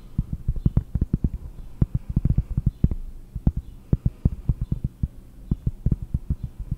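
Fingers tap on cork for ASMR, producing deep, dull, very short taps close to the ear. The taps come in quick, uneven bursts over a low, steady hum, with almost all the energy in the low end and nothing bright.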